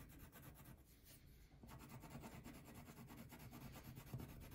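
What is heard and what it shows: A red-pink wax crayon is rubbed in repeated strokes across a thin paper coloring sheet resting on a table. The result is a soft, low, waxy scratching that pauses briefly near the middle, then resumes in quick, uneven rubbing strokes.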